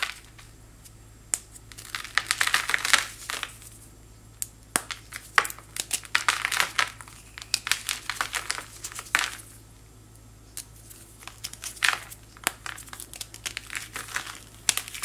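A small solid white chalk-like chunk from a chalky powder block is pinched and crumbled between thumb and fingers with long white nails, and powder falls. Bright, crisp crunching and crackling comes in irregular bursts of many quick snaps, with quiet pauses between the clusters over a faint low hum.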